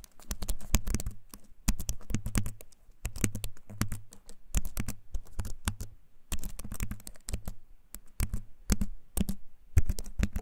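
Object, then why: Compact keyboard with wooden frame and plastic keycaps. A compact keyboard with a wooden frame and plastic keys, held up close, is typed on with fingertips. Clicky keycaps tap in quick, irregular bursts with short pauses, each click brief and dry with a deep, low thump beneath it.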